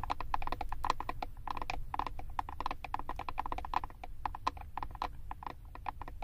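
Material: Plastic.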